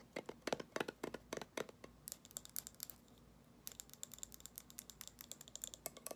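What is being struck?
Glass jar candle with a metal lid.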